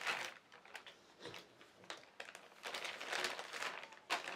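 A large, thin white plastic carrier bag with black printed lettering, lying on a fabric surface, is crinkled and rubbed by fingertips. Soft, irregular bursts of crisp, bright crackling rise and fall, with quieter rustling in between and almost no low end. Each crinkle dies away quickly.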